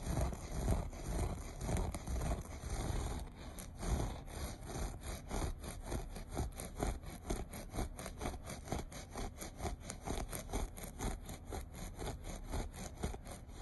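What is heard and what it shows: Short nails scratch rhythmically across the loops of a beige looped carpet. They make a steady run of dry, rasping scrapes, about two strokes per second, with a dense, low, rumbling texture underneath.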